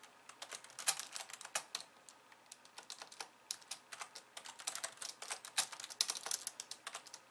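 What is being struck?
Plastic computer keyboard.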